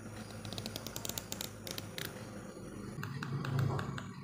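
Fingertips and nails flick across the teeth of a small, solid yellow plastic hair comb held upright near the edge of a table. The result is a quick, uneven run of sharp, bright plastic ticks over a low steady hum. The flicks thin out after about three seconds as the low hum swells slightly.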